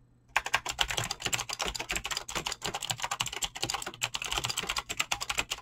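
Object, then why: Mechanical keyboard with plastic keycaps. Fingertips type fast on a Razer BlackWidow mechanical keyboard with clicky green switches and pink-blue dyed PBT plastic keycaps. After a brief silence, a rapid, steady stream of sharp, bright clicks begins, each dying away almost instantly. The clatter is crisp and high, with little low end.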